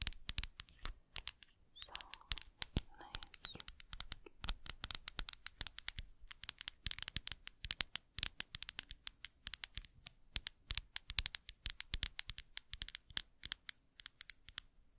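Long acrylic nails tap a small, hollow, clear faceted glass perfume bottle held close to the microphone. Dozens of quick, bright clinking taps come in uneven bursts, each dying away almost at once, with a faint high ringing tone above them.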